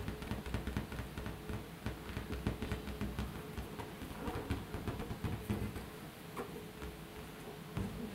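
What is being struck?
Air-filled latex balloon.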